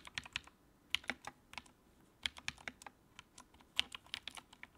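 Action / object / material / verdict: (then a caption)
tap / plastic mechanical keyboard / plastic / none. Fingertips type on the keycaps of a compact white plastic mechanical keyboard with backlight. Quick bursts of short, sharp, bright clicks in uneven clusters decay almost instantly, with little low end.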